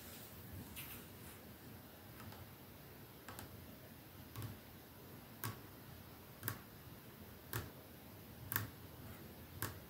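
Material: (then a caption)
Glass. Slow fingertip tapping on a perfume bottle gives soft, bright ticks over a steady low hum. The taps start faint and get clearer and more evenly spaced, about one per second, in the second half.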